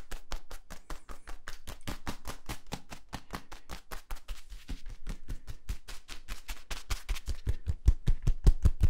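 Fingertips scratch and squeeze the ridges of a hollow yellow ribbed plastic tube held upright and compressed. A rapid, fairly steady run of short, dry clicking taps with a dull low thump under each and almost no ring. The taps grow louder and punchier toward the end.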